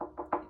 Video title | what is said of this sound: Worth Preserving Talks Old Basements Part1 | when I knock on it it's empty up top